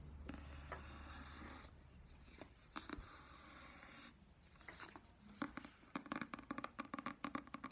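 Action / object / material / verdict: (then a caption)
tap / paperback book with glossy card cover / card / none. A medium paperback "Alice" book with a glossy card cover, solid and held in both hands, is tapped and scratched on its front and back covers with long dark-painted nails, then its spine and page edges are handled. Soft, broad scratching swishes give way to a run of quick, dry taps with almost no ring, the sounds staying quiet and close throughout.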